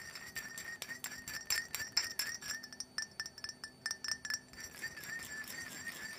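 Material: Glass.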